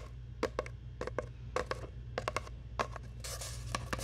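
Long nails scratch and rub a long, hollow brown cardboard tube held by the mic, producing a series of sharp, dry clicks with a hollow mid-range ring around 500 Hz. Toward the end, a brighter, continuous rasping scrape takes over, all over a steady low hum.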